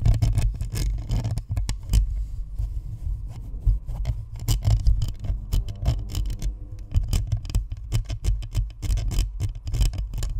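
Long acrylic nails scratch and tap the hollow plastic shell and perforated metal grille of a white spherical Blue Snowball USB microphone on a stand, while fingertips also rub it. The result is a dense, steady stream of rapid scratches and taps, with bright clicking edges over a heavy, booming low-end thump.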